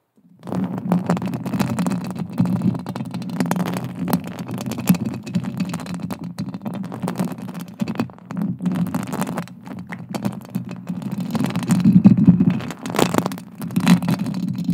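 Long acrylic nails scratch and tap across the silver metal mesh grille of a hollow-headed microphone. The result is a dense, continuous rasping rumble concentrated in the low range around 195 Hz, with faint brighter ticks from the taps. It swells louder around the twelve-second mark and ends with a sharp tap just after thirteen seconds.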